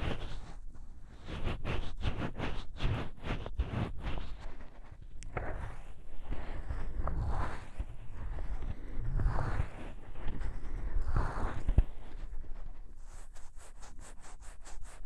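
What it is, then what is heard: Silicone microphone ear being rubbed. Fingertips and nails rub and scratch the soft silicone ear of a gray binaural dummy-head microphone. Quick, bright scratchy strokes sit over a heavy low rumble, then give way to slower muffled rubbing swells. A fast series of sharp high scratches ends the clip.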